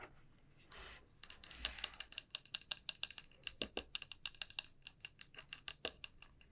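A long nail taps and scratches the rounded bottom end of a large, hollow, dried bottle gourd held upright at an angle. A soft scratchy rasp comes first, then a rapid run of about three dozen sharp, bright, dry clicks that die out almost instantly, with almost no low end.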